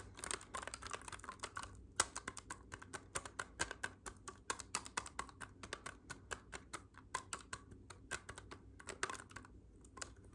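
Fingertips press and click the silver metal keys of a hollow black clarinet held upright. A rapid, uneven run of around fifty short, dry, bright clicks dies away almost instantly over a faint, steady low hum.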